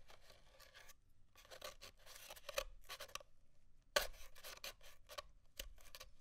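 Short fingernails scratch along the end of an empty, hollow brown cardboard paper towel tube held on a desk, peeling off small leftover scraps of paper towel. A series of quick, dry scratching and tearing bursts sounds out, bright and papery with a hollow tone near 580 Hz. Brief silent pauses fall between the bursts.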